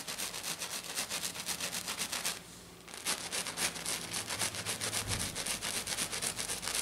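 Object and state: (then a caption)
Glitter-coated sheet being scratched. Long black nails on both hands scratch fast and hard across a flat silver glitter-coated sheet lying on a table. The result is a steady run of bright, rasping strokes that pauses briefly near the middle and then resumes.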